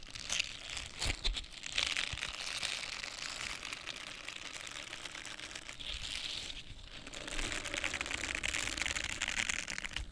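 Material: Silicone.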